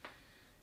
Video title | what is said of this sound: How to READ A 200 YEAR OLD HOUSE | again you knock it's solid